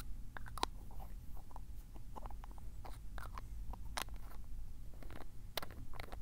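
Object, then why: Glass ink bottle with plastic screw cap. Fingertips twist the black plastic screw cap of a small glass ink bottle, partly filled with dark blue Iroshizuku tsuki-yo ink, open and closed right next to the recorder. Short, dry scraping and clicking cap sounds with bright edges come and go over a steady low hum.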